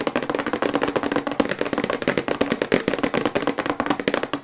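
Long white acrylic nails tap quickly on the back of a glossy printed cardboard toothbrush box held upright in both hands. A rapid, steady run of short, dry clicks, each with a hollow mid-range knock of the box, fills the clip with little low end.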